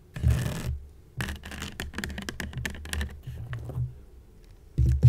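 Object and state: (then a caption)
Woven seagrass basket, scratched. Long nails scratch along the weave of a hollow woven seagrass basket, starting with a rough burst of scraping. A run of quick, dry scratchy strokes follows, then a short pause. A louder, closer scrape ends the clip, with a dull low body to the sound.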